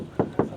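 Two knocks on the steel door of a Chery V23 electric SUV produce short, dull, low-mid thuds with a brief ring. Each knock decays quickly and has little high-end content. The door is confirmed as steel, in contrast to the composite panel beside it.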